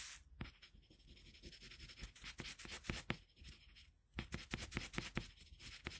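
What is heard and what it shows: A red colored pencil held in a metal extender is rubbed back and forth across a flat sheet of drawing paper on a table to shade part of a drawing. Quiet, bright scratching strokes with soft rubbing pause briefly near the middle, then resume as the hand shifts slightly on the same sheet.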